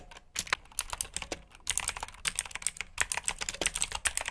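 Fingertips type on a black plastic backlit mechanical keyboard with blue switches, producing a steady run of sharp, bright clicky keystrokes. Each click is short and dry, with a pause in the typing around the one-and-a-half-second mark.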